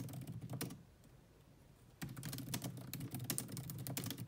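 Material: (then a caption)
Plastic. Fast typing on a grey laptop keyboard with low-profile plastic keys, tapped with long nails and sometimes with both hands. Quick, irregular clicky taps with a low thud under each stroke stop for about a second of quiet near the middle, then resume just as fast.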